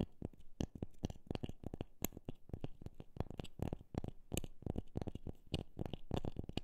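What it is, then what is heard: Wooden object tapped. A wooden object is tapped repeatedly at an uneven pace, some taps quick and close together, others spaced apart. Each tap is a short, dull, low knock that dies away almost instantly, with a few faint bright clicks on top.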